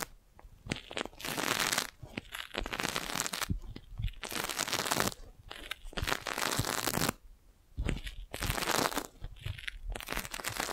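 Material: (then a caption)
Thin plastic. A clear, hollow, fist-sized magic balloon bubble made of thin crinkled plastic is held beside the mic and tapped with long nails. Each burst gives dense, bright crackling and crinkling with quick light taps underneath, separated by short quiet gaps.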